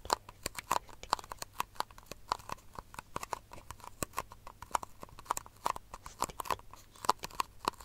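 Long nails tap and scratch a small, empty, hollow disposable white plastic cup held near the microphone. Dozens of quick, dry clicks and scrapes come in an uneven rhythm, each with a hollow plastic ring around 1 kHz and bright, crisp edges, dying away almost at once.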